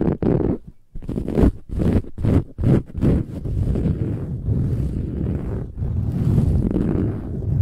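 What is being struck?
Filled cushion with woven metallic fabric cover.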